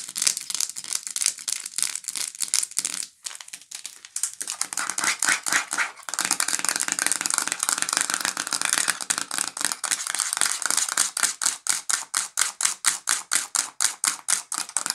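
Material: Plastic.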